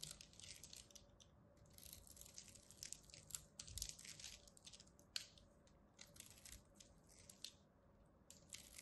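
A palm-sized, solid rectangular pink bar of soap is held in one red-nailed hand while a small metal craft blade scores a grid into its surface and chips off small cubes. The result is a steady run of bright, dry crunching and scraping, with short crisp crackles and brief louder snaps as the pieces break away.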